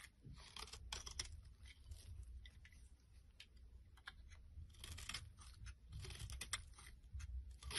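A small blade scrapes and carves thin shards off the top of a solid, rounded purple bar of soap held in the palm. The result is a close, steady run of dry, crisp crunching and scraping strokes with bright, sharp edges over a low, soft rumble.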